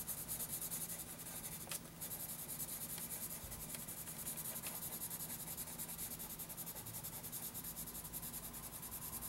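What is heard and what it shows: A graphite pencil, held close to its tip, makes dense rubbing and shading strokes on a lined paper notebook page. It produces a steady, bright, scratchy hiss with a low rumbling undertone. The sound pauses briefly just before the two-second mark, then continues evenly to the end.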